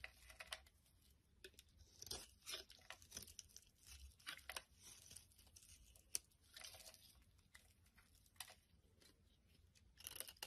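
A metal utility blade shaves long strips off the surface of a translucent amber glycerin soap bar held in the palm. Quiet, bright, crisp scraping and tearing strokes come in short bursts with brief pauses between them. The crackly peeling sound is mostly high-pitched, with little low end.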